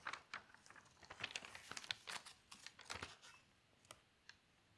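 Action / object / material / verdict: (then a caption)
scrape / newsprint newspaper page / paper / none. Long pink fingernails tap, scratch and rub across the printed page of a thin newsprint newspaper lying open flat on a table, then lift its edge. The result is a quick run of dry, bright paper taps and crinkly scratches with no ring, thinning out to a few sparse ticks at the end.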